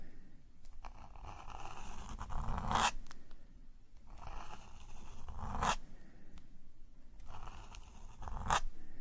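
A metal calligraphy nib scratches ink swirl lines across a black paper sketchbook page resting on a table. The continuous, papery scratch swells in three long strokes, each ending in a sharp, bright flick of the pen, with fainter ticks and scrapes between them.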